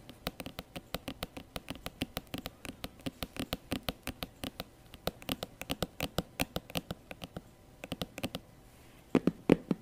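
Long nails and fingertips tap and scratch the smooth synthetic face of a hollow, glossy black patent faux leather handbag with a gold clasp. Dozens of short, dry clicks come in a steady, quick patter over a faint scratchy hiss. Near the end, a few louder, fuller taps stand out.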